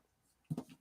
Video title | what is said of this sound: Gore N' More : Episode 216 - The Beyond (1981) | flick it let's hear the steel oh oh yeah that's solid